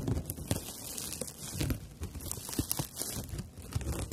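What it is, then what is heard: Dried loofah sponge scratched. Fingernails scratch and rub the coarse fibers of a dried natural loofah pad held upright. The result is a dense, dry, crackling rustle with quick scratchy bursts, a bright hiss on top and soft low thuds beneath.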